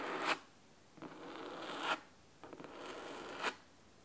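Fingernails of both hands scratch the cloth top cover of a large, solid red, cloth-bound hardcover book lying on a wooden table. Three crisp, bright scratching strokes are heard: a short one first, then two longer, steady rasps that each swell to a sharp end before cutting off into near silence.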